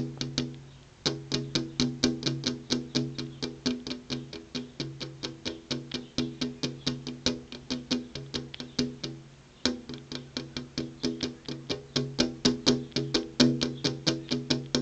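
Long purple-painted fingernails rapidly tap a flat glass window pane that has an insect screen behind it, making about sixty quick, bright clicks. Each tap has a short, hollow ring with a pitch near 250 Hz. The steady run of tapping pauses briefly near the start and again around the nine-second mark.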